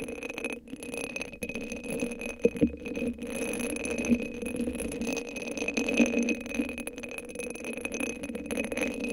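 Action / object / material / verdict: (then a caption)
scrape / hollow cylinder sleeve covered in rhinestones / rhinestones / none. A hand-sized hollow cylinder sleeve covered in purple rhinestones, sitting on top of a microphone, is scratched and tapped with long acrylic nails. The result is a steady stream of crisp, rattling clicks and scratchy chinks with a faint bright ring, and a few sharper, louder taps stand out along the way.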